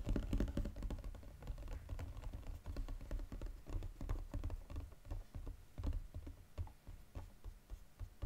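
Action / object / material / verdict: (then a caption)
tap / foil-coated cardboard box / cardboard / none. Fingertips and nails rapidly tap the gold foil-coated bottom of a flat Godiva cardboard box. The result is a quick, dense patter of dull, low, thumping taps with brief crisp clicks on top, each tap dying away almost at once.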